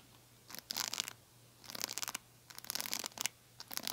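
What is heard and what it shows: A small metallic-pink plastic hair brush is scratched with long nails across its bristles and then along its glossy hollow plastic back. The result is bursts of bright, crisp scratching separated by near-silent pauses.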